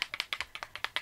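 A Prada liquid foundation bottle is shaken, and a component fixed inside it rattles audibly with each shake. About ten quick, bright clicking rattles are heard in a second, each dying away almost at once. The noise is irksome, though the component is solidly in place.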